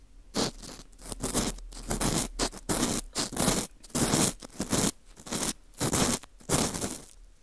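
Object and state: Dried wheat gluten ring (fu) being scraped.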